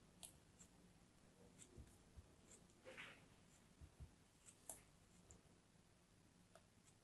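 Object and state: Kinetic sand being sliced.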